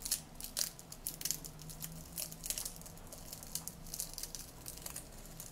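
Fingertips with painted nails reach into a small clear glass jar, about half full of dried green mint-like herb leaves, and crush and crumple the dry leaves. Bright, crunchy crinkling comes in quick, dense bursts over a faint steady low hum.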